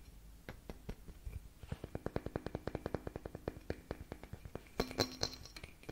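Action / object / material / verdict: tap / glass light bulb / glass / none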